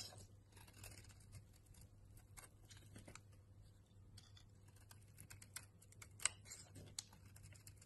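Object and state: Bar soap being shaved.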